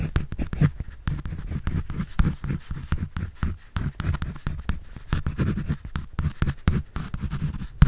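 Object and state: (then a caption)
Pencil drawing on a paper sketch pad. A pencil scratches and draws across a white paper sketch pad held by hand. It makes a steady run of quick, dry scraping strokes with a soft, low, muffled body and little brightness, each stroke short with no ring.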